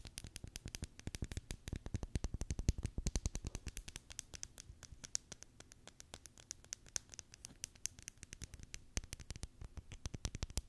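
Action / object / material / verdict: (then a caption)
tap / plastic packaging tape roll on cardboard core / plastic tape / none. A full roll of clear Scotch plastic packaging tape on a hollow cardboard core is held in one hand close to the microphone while long decorated nails tap and scratch its outer surface. A steady stream of rapid, short tapping clicks with a dull low thump and bright scratchy edges continues throughout, each tap dying away almost instantly.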